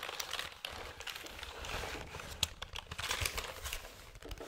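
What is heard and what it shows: Fingertips tap and scratch the back casing on the underside of a hollow black plastic keyboard, held vertically close to the mic. Dry, crinkly scratching runs throughout with light, bright taps scattered through it, each cut off almost instantly with no ring.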